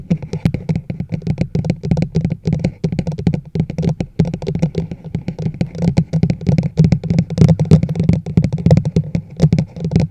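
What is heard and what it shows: Long nails on both hands tap rapidly across the sides of a large, hollow teal plastic chug mug held over a microphone. Each tap gives a short, hollow, low-pitched knock with a quick decay and a bright clicking edge. The taps run continuously with uneven rhythm and loudness throughout.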